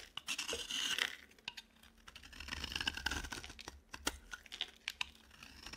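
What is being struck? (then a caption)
Bar of soap scraped with a knife blade. A utility knife blade scrapes and shaves a green, palm-sized dry bar of solid soap, producing dry, bright scratching and crinkly shaving sounds. Longer scraping strokes are broken up by quick ticks and snaps as the blade catches and curls off flakes, with almost no low end.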